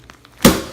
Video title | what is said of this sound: Fitness Friday - Blue Apron | these are still frozen. Like, do you hear that? Like frozen solid.